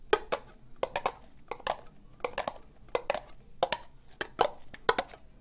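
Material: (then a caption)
Plastic. Long nails tap slowly on an empty, hollow, orange ribbed plastic cup. Short, bright clicks come in uneven pairs and clusters, each with a hollow mid-pitched tone near 750 Hz. Every tap dies away almost instantly over a quiet background.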